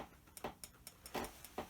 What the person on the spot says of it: it's kind of like glass sounding